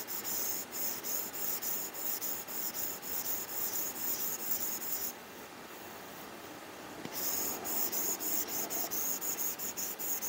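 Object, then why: Plastic stylus on matte plastic film over a glass tablet screen. A plastic stylus tip with a textured grip rubs and scratches across a matte plastic screen protector over the glass screen of an iPad while shading. Quick, bright, scratchy strokes repeat at a brisk, uneven pace, then drop to a quiet hiss for about two seconds in the middle before the shading strokes resume.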